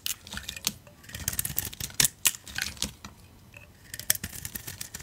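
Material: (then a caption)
Soap. A utility knife blade scrapes flakes off a solid pink soap bar with a brown painted spider-web layer, held in the hand. Many short, bright, crisp scraping and crackling strokes come in bursts with brief pauses, the sharpest flicks standing out. The sound sits mostly in the high range with little low end.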